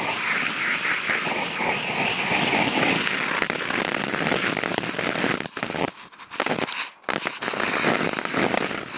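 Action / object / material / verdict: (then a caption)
scrape / corrugated cardboard sheet / cardboard / none. Toothpick tips fitted to contact mics scratch and poke across the surface of a large, flat corrugated cardboard box sheet, producing a dense, continuous, bright crackling scrape. The rough texture holds steady for about five seconds, then breaks into short pauses and bursts before the steady scratching resumes.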